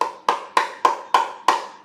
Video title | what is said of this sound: Sovol Weekly Live Stream | So this is not TPU. It sounds like PLA.